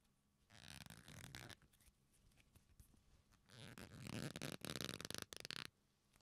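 A black leather belt, a flat solid strap with its folded ends squeezed and rubbed between fingertips, gives off dry creaking and squeaking. A first burst of creaks is followed by a quieter stretch of faint rubbing, then a louder, more rapid run of bright, rasping creaks before the sound fades out.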